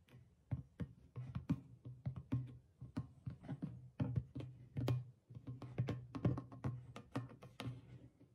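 Fingertips and long nails tap the stretched rawhide head of a single hollow clay drum while the other hand steadies it. The taps come in an uneven run of quick, soft strikes, each giving a low, hollow thump pitched around 125 Hz with sharp clicky edges that die away almost at once.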